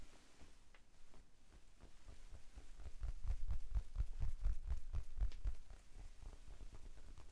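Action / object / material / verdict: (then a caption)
tap / foam sponge / foam / none. Fingertips tap a pink, rectangular, hand-sized foam sponge, soft and porous, held in both hands in front of the chest. The result is a quick, loosely even patter of dull, muffled, low thuds with almost no ring. The taps grow louder through the middle of the clip, then ease back to a softer level.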